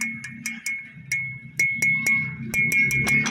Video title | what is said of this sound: Crank Stand for my dual 12inch FoH set-up | matigas, hindi siya hollow yan, walang laman yan sa loob, pero matigas siya